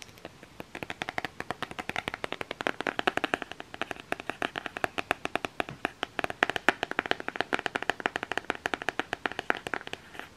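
A flat cardboard eyeshadow palette with a Nightmare Before Christmas print is held in the hands and tapped and scratched with fingernails. Rapid, dry, crisp taps with almost no ring follow one another steadily for about ten seconds, centered in the upper mids with a bright edge and almost no low end.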